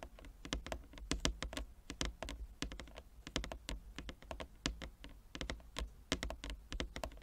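Long nails and fingertips of both hands tap rapidly on a large, flat wooden chess board with inlaid squares. The result is a dense, irregular patter of short, dry clicks with bright, sharp edges over a steady low hum, each tap dying away almost at once.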